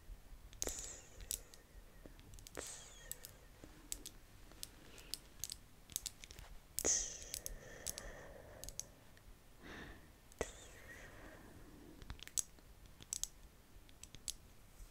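Long painted fingernails tap the glass sides of a medium glass jar full of strawberry jam, with a paper label and metal lid, held in both hands. Sharp, bright, high-pitched clicks come in an irregular stream and die away instantly, with soft brushing rustles between some of the taps over a quiet background.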